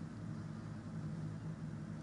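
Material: Nothing is struck.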